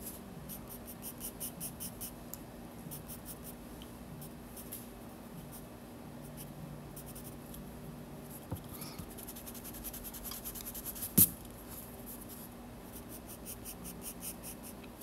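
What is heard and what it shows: A graphite pencil tip scratches short, quick strokes across a white paper page of a spiral sketchbook while drawing details. The result is a soft, steady run of dry, bright scratching with a low hum underneath, broken by one sharper, louder tap near the end.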